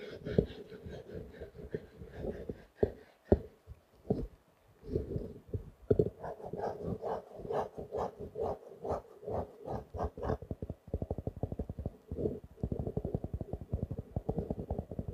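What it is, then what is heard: Faux leather notebook cover. Fingertips and nails tap and scratch the solid cover of a small blue-grey stitched faux leather notebook. Soft, dull taps alternate with brighter, papery scratching bursts in the middle. The clip ends in a fast, steady flurry of quick muted taps.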